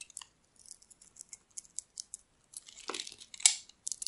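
A metal blade scrapes thin purple shavings off the face of a solid oval bar of dry soap, green outside and purple inside, held in the palm. Quiet, bright, crisp scraping ticks come in quick short strokes with almost no low end, building into a denser, louder crackling rasp near the end.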